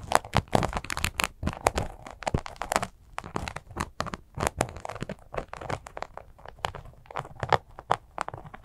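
A small, soft glitter sequin fabric zipper cosmetic pouch is scratched and squeezed with long acrylic nails. Dense, dry crinkling and scratchy crackles come in quick irregular bursts, centered in the midrange with bright edges and no ringing after each stroke.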